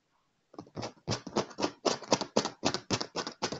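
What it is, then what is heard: Leather chair armrest. A hand taps a dark padded leather chair armrest with its fingertips and nails. After a brief silence comes a quick, fairly steady run of dry, short taps, each with a scratchy, bright edge over a mid-range body and almost no ring.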